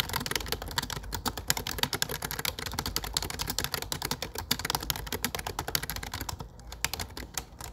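Fingertips type steadily on a low-profile plastic computer keyboard with dark plastic keycaps. The keys give a fast, continuous stream of short, bright clicks that stop almost instantly, with soft low thumps from the keys bottoming out beneath them. The typing runs for about eight seconds.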